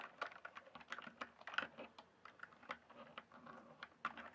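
A backlit mechanical keyboard with plastic keycaps is typed on with the fingertips, producing a quick, uneven run of crisp, clacky keystrokes. Each click is short and dry, centered in the upper mids around 1.4 kHz with bright edges and almost no low end, and some strokes land louder than others.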